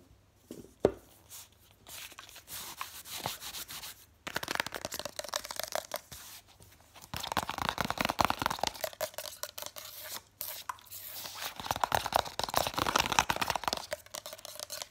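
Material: Paper.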